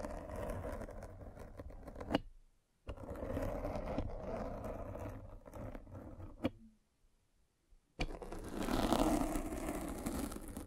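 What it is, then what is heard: Foam microphone cover being scraped. A metal-spiked derma roller is rolled over the black foam windscreen of a microphone, scratching and piercing the foam. It makes a close, dense, low-heavy scraping and crackling rustle in long strokes, broken by brief silent pauses with a few sharp clicks.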